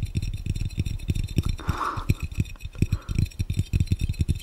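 Fingertips of both hands tap rapidly on a clear, round, hollow and empty glass fishbowl, producing a quick stream of soft, dull thuds with a low body near 100 Hz and almost no ring. A faint midrange tone swells briefly in the middle, over some steady background noise.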